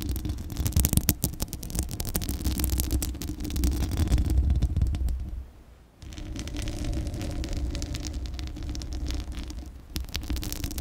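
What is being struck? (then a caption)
Metal mesh microphone grille. Long glittery acrylic nails scratch a hollow metal mesh microphone grille, making a dense run of rapid, uneven scraping strokes over a heavy low rumble. The scratching fades almost to silence around the middle, then resumes at full strength for the rest of the clip.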